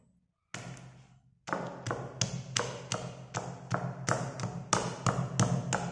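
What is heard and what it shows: A hand-held white pestle pounds and knocks down onto pastel-coloured school chalk sticks packed into a grey, marble-like stone mortar, with an open cardboard chalk box beside it. About 14 sharp, short knocks with a bright, gritty crunch land in a loose rhythm over a low thud, steadily crushing the solid chalk.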